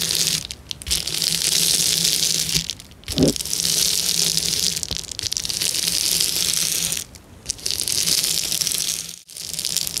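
Fingers press and scratch across a flat, clear plastic bubble wrap sheet, making a bright, hissing crinkle in long sustained bursts broken by brief pauses. A faint steady low hum sits underneath, and a single soft thump stands out near the three-second mark.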